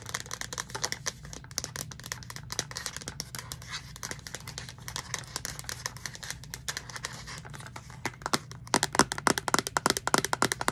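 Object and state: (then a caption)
Plastic reusable cup tapped with nails. Long nails tap the wall and purple lid of a hollow pink plastic Starbucks reusable cup with an orange straw. The result is a rapid, irregular stream of short, bright plastic clicks over a faint low hum, growing louder and sharper in the last couple of seconds.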